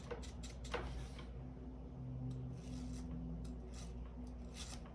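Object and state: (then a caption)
Braille display module with small moving pins. A refreshable braille display cell module from a Braille Lite 2000, about the size of two decks of cards, is held upside down and shaken gently. Its small braille pins give faint, quick rattles as they slide in and out, with some loose shaking inside, over a steady low hum.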